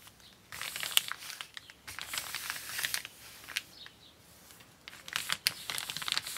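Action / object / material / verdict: scrape / kraft paper mailer bag / paper / none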